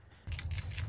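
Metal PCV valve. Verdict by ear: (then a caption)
Free-moving. A new PCV valve for a 2004–2007 Toyota Highlander is shaken by hand, and its internal plunger rattles in quick, bright clicks over a low background rumble. The plunger moves freely, as a good valve should.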